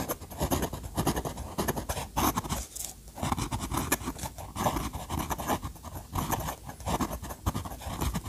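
The steel nib of an orange fountain pen draws quick hatching lines across a thick, dry paper sketchbook page. Dense, rapid scratchy strokes repeat in short bursts with a soft, close, low-heavy texture and brief bright edges. The strokes rise and fall steadily throughout.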